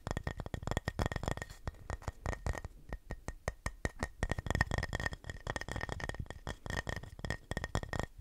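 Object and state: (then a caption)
Painted wooden plaque. Fingernails tap and scratch across the face of a flat, solid, painted wooden house-shaped Christmas sign. The result is a quick, uneven run of dry, dull knocks that die away almost instantly, mixed with light scratching. The sound is weighted toward the low end, with a faint steady tone near 1.8 kHz running underneath.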